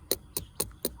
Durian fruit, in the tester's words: อันนี้ก็จะสุกแล้วมันดังมันดังปุ่มโปร่ง